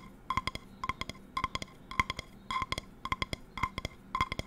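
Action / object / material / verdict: tap / metal frying pan base / metal / none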